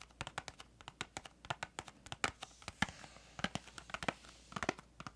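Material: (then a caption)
Cardboard. Long acrylic nails tap and scratch a small, hollow, printed cardboard crayon box with a green flap. About 27 quick, dry clicks come in an irregular, fast run, some with a faint scratchy edge. Each dies away almost at once, leaving a crisp, bright, papery tapping at a quiet level.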